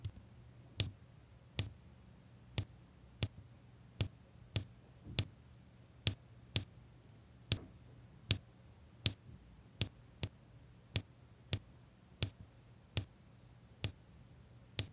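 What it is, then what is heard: Resin diamond-painting drills placed on adhesive canvas. A drill pen with a metal tip taps small, solid square resin diamond-painting drills onto a flat adhesive canvas, producing 20 short, sharp, bright clicks at a fairly steady pace. Each click dies away almost instantly over a faint, steady low hum.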